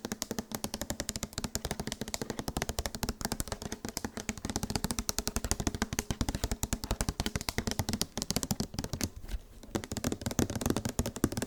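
Fast, continuous tapping on a plastic body wash bottle produces dense, sharp clicks with short hollow knocks and little ring. The rapid taps run steadily throughout, with only a brief dip in level a little before the end.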